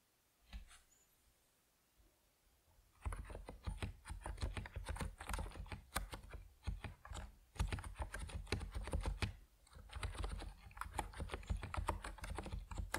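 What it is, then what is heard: Plastic mechanical keyboard with PBT keycaps. An Epomaker NiZ Plum Atom 68, a compact 68-key plastic mechanical keyboard with white and purple PBT keycaps, sits on a wooden desk and is typed on with fingertips. After about three seconds of near quiet with one faint tap, a steady stream of fast, overlapping keystrokes follows, each a short, deep, muted clack with a bright click on top.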